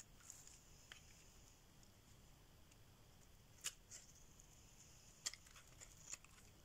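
A solid cream-white rectangular dry soap bar held in the hand is scraped and carved with a metal blade, shavings curling off. A quiet, steady high-pitched scraping hiss runs throughout, broken by a few sharp, bright clicks and crisp snaps as the blade cuts in.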